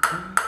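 A table tennis ball is bounced twice on a bare Sunflex LSH Off+ blade, made of wood with Supreme Carbon layers and just out of its plastic wrap. Each bounce gives a sharp, high ping near 1.4 kHz that fades quickly. The blade proves very stiff.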